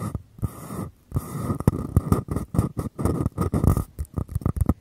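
Two identical small, empty, hollow white paper cups are held one on each side of a Tascam mic with the open ends facing out, while fingertips and nails tap and scratch the cup walls. Quick, dull, hollow low thumps alternate with rustling, scratchy bursts, with a faint resonant ring in the upper mids. The taps come in an irregular, rapid series with brief pauses between.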